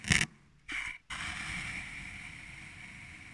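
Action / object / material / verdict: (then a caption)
scrape / kinetic sand in a glass tumbler / sand / none. A thin metal needle or blade cuts slits into purple kinetic sand packed into a small clear glass tumbler. Three separate cut-and-scrape strokes are heard: a sharp bright one, a short hissing drag, then a longer scrape that carries a thin ringing tone around 2.2 kHz and slowly fades. The sound is mostly bright and gritty, with little low end.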